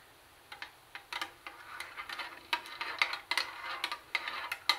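Long nails tap and click on the hollow plastic handle and CD lid of a plastic CD cassette boombox. After a short silence comes an irregular run of sharp, bright clicks, some quick and some spaced apart, each dying away almost at once, with a light rustle between them.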